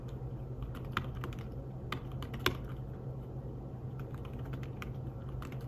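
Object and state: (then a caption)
Fabric-covered tablet keyboard being typed on. Fingertips tap the keys of a slim fabric-covered tablet keyboard while typing. Soft, muted clicks come in a quick irregular stream, with a few sharper taps, over a steady low hum.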